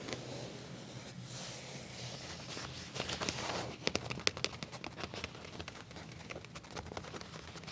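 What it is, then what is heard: Leather trousers. Flat black leather trousers with a back pocket, lying on a surface, are scratched and tapped with fingertips and nails. A soft, bright scratching rustle gives way to a run of sharp, dry taps and crinkly clicks that stop short with almost no ring.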